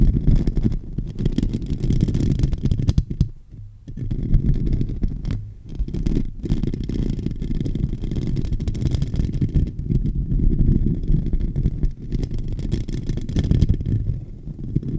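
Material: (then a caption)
Metal mesh. Fingernails and fingertips scratch across the hollow metal mesh grille of a silver microphone. The result is a dense, continuous, muffled rumbling scrape, almost entirely low and boomy, with brief quieter dips around 3 to 4 seconds and near 5.5 seconds.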